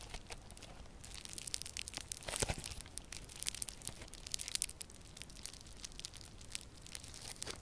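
Yellow crunchy foam-bead slime is squeezed and kneaded in both hands with purple nails. A steady stream of bright, dense crackles and crunchy pops sits over a soft, quiet background, with a louder burst of crunching partway through.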